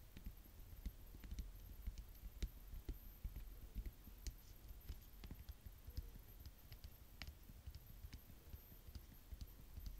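Long fingernails tap quickly and irregularly on a full-looking purple plastic paint bottle held in the hand. The result is a quiet, dense patter of short, dull clicks with a heavy low thud and brief bright ticks that die away almost instantly.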